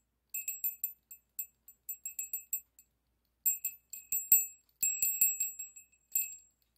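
A small hollow brass bell with an internal clapper, hung from a yellow pipe cleaner, is swung and shaken by hand while a second bell sits still on the table. The clapper strikes out quick, bright, high tinkling rings in irregular bursts that decay fast, with a brief pause before a louder, denser flurry.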